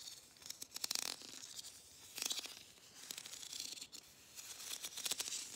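Fingernails scratch along the ribbed grooves and tap the surface of a hollow, matte gold ribbed plastic Christmas bauble. Quick bursts of bright, rasping scratches and fast dry ticks rise and fade in several clusters, with almost no low end and no ring after each stroke.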